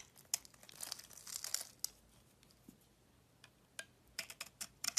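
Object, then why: Bar of soap scraped with a metal blade. A metal utility knife blade scrapes flat across a solid pink and yellow bar of soap with a cream-coloured core, held in the hand. Bright, dry crinkling scrapes come in a dense burst at first, then thin out into sharp, brief ticks and short scratches with quiet gaps between them.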